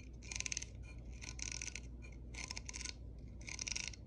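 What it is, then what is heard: Plastic hair brush bristles. Long nails and fingertips flick and scratch across the dense magenta plastic bristles of a small pink-and-white plastic hair brush with a hollow shell, held in the palm. Four bursts of bright, rapid ticking and rasping clicks are separated by short pauses, over a faint low hum.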